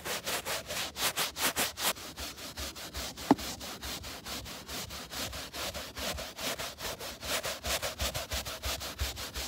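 A gloved hand rubs and scratches a scrub brush with a wooden-looking handle back and forth across the pile of grey synthetic-fiber carpet on a car floor by the open door sill. About 35 quick, bright, hissy brushing strokes follow one another steadily, with a single sharp click near the middle.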